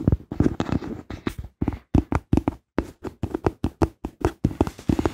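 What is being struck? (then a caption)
Small rubber or silicone bath toy boat. A small, hollow teal rubber or silicone floating bath boat is held in both hands and tapped and scratched with long pink-painted nails. The result is a quick, irregular series of soft, dull, hollow taps, each dying away almost instantly, with faint scratchy texture between them and most of the energy in the low range.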